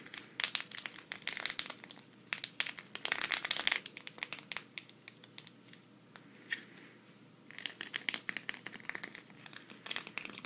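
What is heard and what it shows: Long red nails scratch a thin, flat green sequin cactus patch held up in the air, making bright, crinkly bursts of rapid scratching. The scratching comes in dense clusters with a quieter, sparser stretch in the middle before it picks up again near the end.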